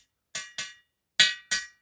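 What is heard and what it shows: A metal motorcycle exhaust pipe is tapped four times to check the decarbonizing. Each tap rings out bright and metallic with a clear pitch near 1.9 kHz and a short decay, showing the inside is clean of carbon deposits.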